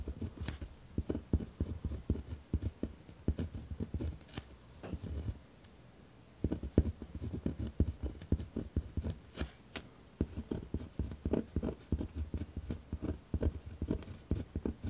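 A pen writes with firm strokes on a torn-out sheet of lined notebook paper lying on a wooden desk. Many short, dense scratching strokes are heard, mostly low and thumpy with faint bright scratch, with brief pauses near 5 to 6 seconds and around 10 seconds.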